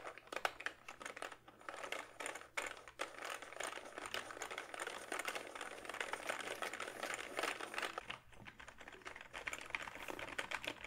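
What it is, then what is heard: Plastic membrane keyboard being typed on. Fingertips type on the keys of a plastic, backlit membrane gaming keyboard held up in front of the face. The result is a steady stream of soft, dry, rapid plastic taps and crinkly clatter, mostly in the mid and high range with little low end. Each tap is very short with almost no ring, and the typing dips briefly just after the eight-second mark.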